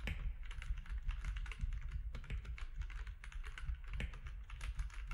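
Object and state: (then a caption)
Plastic mechanical keyboard. Fingertips of both hands type on a compact mechanical keyboard with grey, white and orange plastic keycaps. A steady run of short, crisp plastic key clacks with bright tops sits over a low, constant hum, with no speech.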